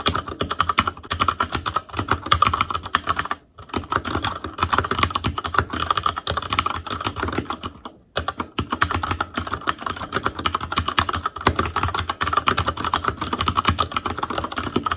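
Steady typing with the fingertips of both hands on a black plastic Asus Claymore Core mechanical keyboard with plastic keycaps and Cherry MX Red switches. A dense run of short, dry keystroke clicks and clacks, centered around 1.2 kHz, briefly pauses near 3.5 and 8 seconds before resuming at an even pace.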